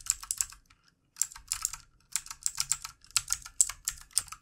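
Fingertip typing with both hands on a full-size backlit plastic mechanical computer keyboard with plastic keycaps. Bursts of quick, bright, clicky keystrokes carry almost no low end and stop briefly near the one-second mark before resuming.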